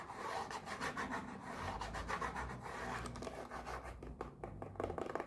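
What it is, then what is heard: Cardboard box being scratched. A small pink printed cardboard mochi box is held in one hand and rubbed and scratched with long nails, giving a steady, soft papery rasping. Near the end, the top flap is lifted to open the box, bringing a few sharper scratchy clicks.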